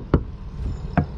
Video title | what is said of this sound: Is REV Group Ruining Lance❓ Pre-REV Lance 975 vs REV Lance 975 Truck Camper Side-by-Side Comparison! | no hollow sounding